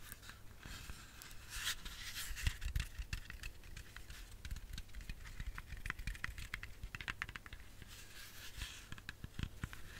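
Long fingernails tap a whole, solid red apple in a quick, uneven run of dry, clicky taps. Each tap has a bright click over a soft low thump and dies away almost at once, with faint scratchy scrapes between the taps.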